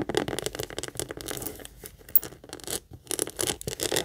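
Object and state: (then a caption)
Leather purse scratched and tapped. Long nails rapidly scratch and tap the flat front face of a small, hollow pink leather heart-shaped purse held upright. The result is a fast run of dry, bright scratching and clicking bursts with little low end. Brief pauses break up the run, and each tap dies away almost instantly.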